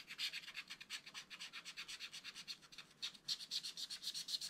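A wooden stylus rubs and scratches repeatedly over the lower part of a black wax-coated scratch-art card page lying flat in a spiral book. About 30 quick, bright scratching strokes follow in an uneven rhythm, with a brief lull near the three-second mark. Almost all the energy sits in a high, hissy band with nothing low underneath.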